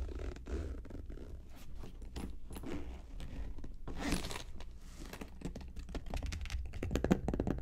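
Long acrylic nails tap and scratch the top of the lid of a medium, hollow cosmetic vanity case covered in gold polka-dot faux leather, with a metal handle. A steady stream of quick, dull, low-heavy taps is heard, mixed with soft scraping and scratching that stays close and muffled. Occasional louder, slightly brighter clicks stand out, with a sharp tap near the end.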